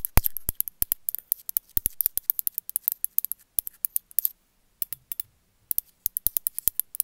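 Long metallic nails tap a small, glazed, gray ceramic cat figurine held in the hand. A rapid series of short, dry, bright clicks is heard with no ring, and there are brief pauses around the fifth and sixth seconds before the tapping resumes.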